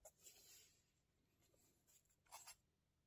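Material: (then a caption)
Paper. A felt-tip marker held in fingers writes on an open lined-paper spiral notebook resting on a table. Quiet, bright, hissy scratching strokes come in uneven bursts, with a longer stroke early on and a sharper, louder pair of strokes near the end before fading to faint hiss.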